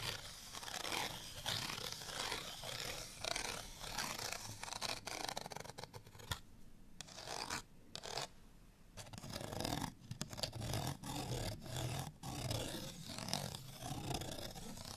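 A small printed cardstock tag on a string, held in the hand, is scratched with fingernails. The result is a dense, bright, rasping scratch in rapid overlapping strokes, with a few brief pauses midway before the scratching resumes.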